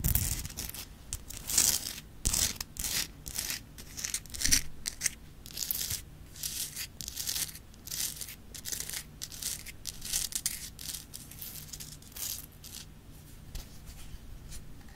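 Long nails tap and scratch the rough faces of an upright Himalayan rock-salt lamp, a solid crystal block held beside the mic. Bright, gritty scratching bursts and crisp taps come in an irregular stream and die away quickly, over a faint steady low hum.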